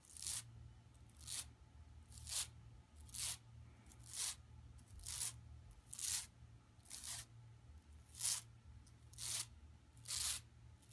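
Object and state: Woven plastic mesh bag being scratched.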